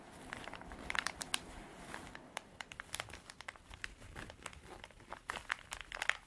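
Long dark artificial nails scratch a small, soft, hollow cream canvas zippered pencil pouch with printed drawings, held in both hands. The result is a dense, dry crinkling scratch dotted with many sharp, bright clicks and ticks, with very little low end.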